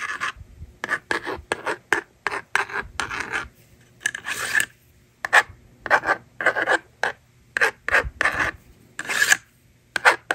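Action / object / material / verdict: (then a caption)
scrape / plastic magnetic drawing board and plastic stylus / plastic / none. A plastic stylus scratches numbers onto a hand-held plastic magnetic drawing board, and the screen is then erased. Short, dry rasping rubs come in quick bursts with brief silent gaps, centred around 1.5 kHz with a bright, airy hiss on top. There is almost no low end and the strokes stop dead with no ring.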